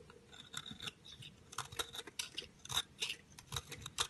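A round, solid orange-pink speckled soap bar held in the hand is shaved and scraped with a metal utility knife blade. It makes a rapid series of short, crisp, bright scraping and crackling strokes with a high, thin edge and almost no low end. Each stroke stops quickly, with no ringing.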